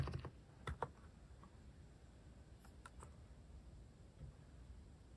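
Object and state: Mechanical keyboard, slow typing.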